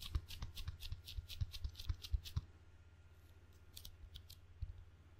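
Fingertips pat the sticky red and black rubber faces of a wooden-bladed table tennis paddle, making soft, low thumps, each with a bright, tacky click as the skin pulls away. The pats come in a quick, uneven run for about two and a half seconds, then thin out to a few scattered touches over a quiet, steady low hum.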